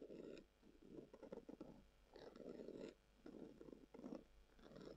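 Long acrylic nails scratch a hollow, hand-length, brown textured leather-covered tubular glasses case held upright on a table. The result is soft, dry, papery scratching in repeated bursts with a low-mid body around 200 to 600 Hz. A few strokes carry a faint bright hiss.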